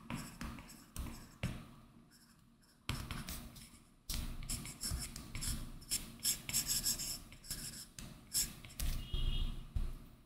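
An Apple Pencil's hard tip makes rapid small circular hatching strokes on a large, flat iPad Pro glass screen covered with a matte, textured Paperlike plastic film. The result is a dry, raspy scratching in quick bursts of many short onsets, with bright high hiss over a low, soft rubbing body. Quiet pauses separate the bursts.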